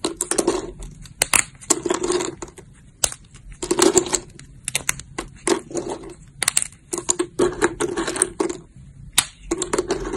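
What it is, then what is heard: Dried soap sheets being crushed. Thin, brittle, translucent brown amber soap plates (dried soap sheets) lying in a pile are crushed and snapped between fingertips with long lilac nails. Bursts of dry, crisp crunching and crackling alternate with sharp, bright snaps, each one ending almost instantly. Short quiet gaps fall between the clusters.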